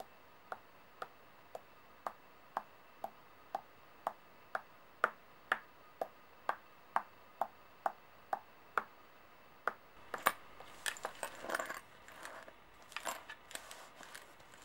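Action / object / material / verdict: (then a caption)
tap / small metal coins on a table / metal / none. Long painted nails tap small solid metal coins resting on a white table, giving 19 evenly spaced, short, bright clicks with a faint ring. The nails then sweep the coins around, producing a denser, scraping jingle of overlapping clinks for the last few seconds.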